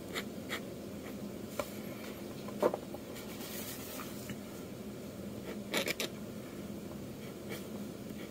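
A metal dip-pen nib scratches long inking lines across a flat sheet of manga manuscript paper. It makes a soft, steady, papery scrape with a low-mid body, broken by brief brighter ticks and strokes.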